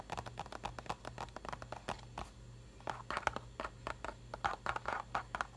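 Fingertips and nails rub and tap the printed face and edges of a medium printed cardboard mochi box, likely full, lying on its side on a paper towel. The result is a quiet, rapid series of short, dry taps and crackly scrapes that die away almost instantly and center in the midrange. A faint steady low hum runs underneath.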